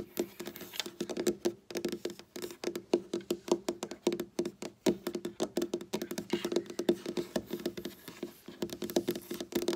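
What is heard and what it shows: Long black nails rapidly tap and patter on a large, solid dark wooden tabletop, close up. Quick, dry clicks with very short decay come in uneven bursts, each carrying a hollow woody tone around 350 Hz.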